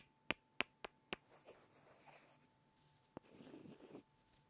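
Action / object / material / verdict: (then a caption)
tap / small solid wooden blocks / wood / none. Two small, solid light-wood blocks are tapped and rubbed together by hand. Four quick, bright, dry clicks come first, followed by a soft scraping rub. A single sharp tap then leads into another brief stretch of rubbing.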